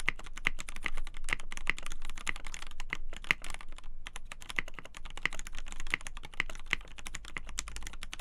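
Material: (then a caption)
Polycarbonate. A black polycarbonate KBD8x TKL mechanical keyboard with a poly plate, Gateron Black Ink switches and white and black PBT keycaps is typed on quickly with both hands, fingertips tapping the keys. A dense, steady stream of short, sharp clacks with a bright click around 2 kHz and a deep thocky body, each decaying almost instantly, with a brief lull near the four-second mark.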